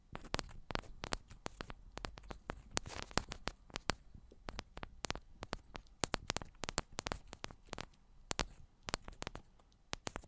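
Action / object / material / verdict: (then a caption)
tap / metal microphone body / metal / none. Long black almond-shaped nails tap the tops and sides of two identical silver metal cylindrical microphones. Dozens of quick, dry clicks with bright edges and a soft low thump land in an irregular stream. Each tap dies almost instantly over a faint hiss.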